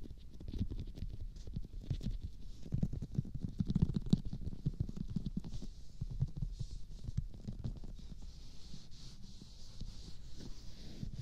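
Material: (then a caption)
Silicone. Fingertips of both hands rub and press the forehead and temples of a life-size silicone or rubber practice mannequin face resting on a pink pillow and glossy with lotion. The result is soft, low, squishy rubbing with dense little wet clicks running throughout, quiet and muffled with almost no high end.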